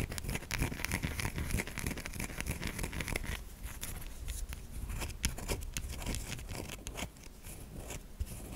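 Long pink acrylic nails scratch quickly across the grooved surface of a solid white bar of soap held in the hand. The result is a dense, rapid run of dry, crinkly scratching with bright, noisy edges over a low background rumble. It continues steadily for the whole clip, with a brief softer stretch near the end.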